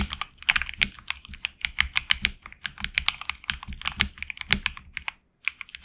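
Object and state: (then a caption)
Mechanical keyboard with plastic keycaps. Both hands type with their fingertips on a HyperX Alloy Origins Core tenkeyless mechanical keyboard with HX Red switches and PBT plastic keycaps on an aluminum plate in a hollow case. It makes a rapid, uneven run of short, bright, crisp keystroke clacks with little low end. A brief pause comes near the end before typing resumes.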